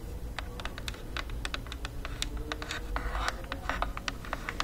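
Long nails tap and scratch quickly across the sides and top of a black plastic Bluetooth speaker. The result is a dense run of crisp, bright clicks with short scraping strokes over a low, steady background hum.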